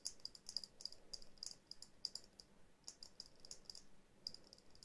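Long nails tap a small hollow glass dome ornament with snowflake decals, and the ornament is held further away toward the end. Bright, quick clicking taps with almost no ring come in uneven bursts over a faint low hum.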